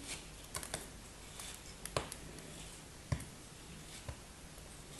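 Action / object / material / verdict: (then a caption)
scrape / molded kinetic sand block cut with a thin knife blade / kinetic sand / none. A solid, hand-sized molded block of red kinetic sand, held in one hand with long white-tipped nails, is sliced and scraped with a thin black knife blade. Seven quiet, crisp cutting and scraping sounds stand out at an uneven pace, each a short grainy crunch with a bright hiss and a soft low thud. They sit over a faint, steady background noise.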